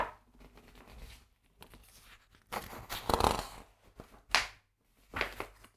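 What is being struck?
Thin printed paper pages of a large atlas.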